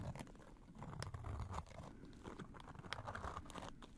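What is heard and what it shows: Gloved fingers squeeze, riffle and shake a small pleated paper butterfly fan with green plastic sticks, folded shut. The result is a quiet, steady run of soft crinkling and pattering taps. The sound is dry and short with no ring, weighted toward a low rustle, with occasional brighter crackles.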